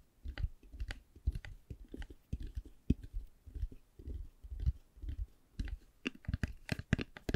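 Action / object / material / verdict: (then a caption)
tap / faux leather hard eyeglass case tapped with fingernails / faux leather / none. Long glittery nails tap and scratch a hollow black Ray-Ban hard eyeglass case covered in faux leather. The result is a steady, uneven run of soft, dull, low taps with almost no ring, broken by brief bright scratchy clicks.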